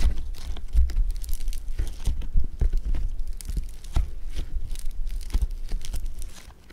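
A lump of blue foam bead clay (floam) is squished with thumbs and fingertips, giving a dense run of crackling, crunching pops over low, muffled thumps. The crackle stays steady throughout and fades out at the end.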